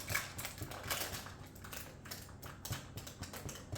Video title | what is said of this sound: Spend a day with me. Shopping, baking homemade Irish wholemeal bread and just hanging out. | Yeah, that's also hollow. They'll be fine.